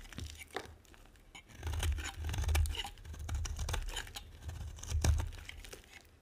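A metal blade scrapes across the surface of a solid, dry, dark brown bar of soap, carving off flakes. The sound is a series of rough, crackling scrapes and crisp tearing crunches over a low rumble, rising and falling in waves with brief bright ticks.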